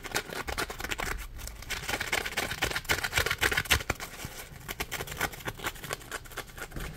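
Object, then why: Polymer foam sponge. Fingertips scratch and squeeze a solid, palm-sized yellow polymer foam Scrub Daddy sponge. The result is a quick, uneven run of dry, bright scratching crackles with soft squeaky rubs, each stroke short and without ring.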